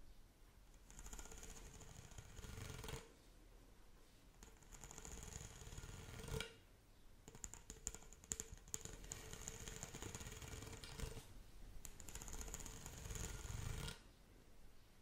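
Long nails scratch along the ribbed surface of a pink, corrugated, hollow plastic pop tube toy bent into an arc. Four bursts of rapid, raspy ridged scratching, with a bright whistling edge and a low rumble, are separated by short quieter pauses.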